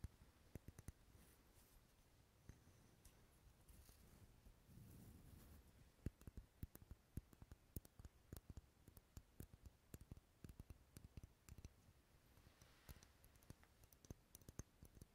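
Fingernails tap and scratch a dark red solid wax pillar candle held close to a binaural microphone, making many quiet, sharp clicks. The clicks are scattered irregularly, with a softer rustling scratch in between and a brief low scraping swell around the fifth second.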